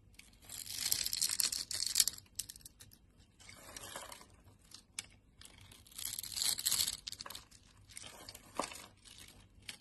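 A solid yellow glycerin soap bar with a grid scored into it is held in the hand while a utility knife blade scrapes off small cubes. Bright, dry crackling and scraping comes in bursts with quiet gaps between them. The crisp, crumbly sound sits almost entirely in the high range.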